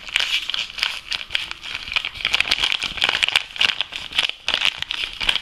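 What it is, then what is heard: Empty foil coffee bag. An apparently empty, soft Lavazza espresso coffee bag made of foil laminate is crinkled and tapped with nails and fingertips. Dense, bright crackling and crisp ticks come in quick irregular bursts, with energy concentrated around 2.9 kHz and almost no low end. Each tap dies away almost instantly.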